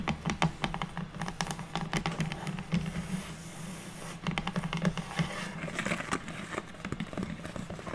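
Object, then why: Unfinished wooden board or box lid. Long natural nails of both hands tap quickly on a flat, square, unfinished light wood board or box lid resting on a table, producing a dense run of dry, crisp clicks over a steady low hum. Near the end, the hands grip the board's edges.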